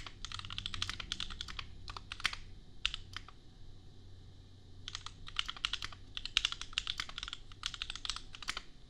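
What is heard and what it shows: Fingertips of both hands type on a compact $250 custom mechanical keyboard with Gateron Milky Yellow switches and red/pink plastic keycaps. Rapid bursts of bright, crisp clacks over a faint low hum stop for a brief pause in the middle, then resume at the same quick pace.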